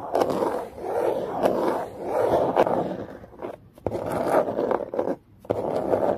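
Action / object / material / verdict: scrape / cardboard box / cardboard / none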